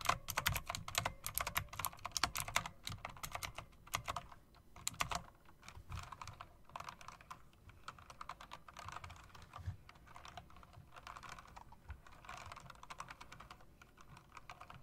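Long-nailed fingertips rapidly press and tap the round plastic, metal-rimmed keycaps of a mechanical typewriter-style keyboard. The result is a fast, dense stream of sharp, bright clicks with very short decay, busiest in the first few seconds. The clicks then continue as steady typing over a low, soft background.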